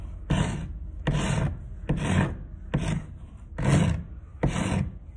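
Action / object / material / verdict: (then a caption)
scrape / thin wooden stick filed with a metal rasp / wood / none. A thin, solid wooden stick, held by hand over a pile of sawdust on concrete, is filed with a round metal rasp in back-and-forth strokes. Six separate rough, rasping strokes come at a steady, unhurried pace, each a broad scratchy burst with a heavy low body and a bright top edge. Quieter grainy scraping fills the gaps between strokes.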